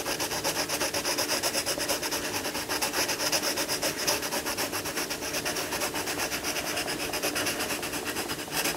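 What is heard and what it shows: A hand colours a lion cub picture in an open paper colouring book on a wooden table, rubbing a dark crayon or coloured pencil back and forth across the thin page. The result is a steady, bright, scratchy rubbing with rapid, fairly even strokes that pulse throughout.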